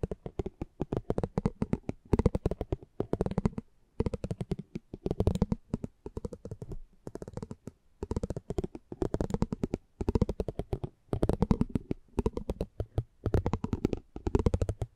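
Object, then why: Cardboard trading card with metal spiked wheel. A metal spiked pinwheel is rolled across a small, thin cardboard trading card showing a driver portrait, held in the hand. It makes rapid, dense, dry ticking in repeated bursts with brief pauses between passes. The clicks are short with almost no ring, and their tone sits low and muffled.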